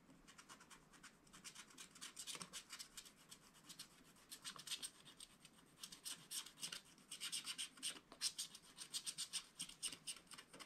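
A wooden stylus scratches lines into the black wax coating of a small spiral-bound scratch-art paper pad. Quiet, dry, bright scratching comes in quick irregular bursts of short strokes, with brief pauses between groups and no ringing after each stroke.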